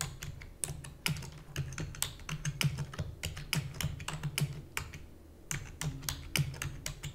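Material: Plastic.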